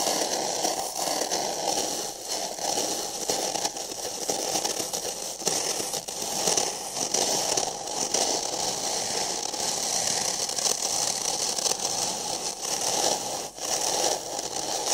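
Fingertips and nails scratch and tap the outside printed wall of an empty, hollow printed paper cup held over the microphone. A dense, bright, crackling scrape runs almost continuously, with brief dips and soft taps mixed in and little low end.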